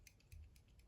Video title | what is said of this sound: Hogue Ballista - One of the most impressive and underrated automatic EDC knives I’ve come across!! | you really do have to shake it to hear that rattle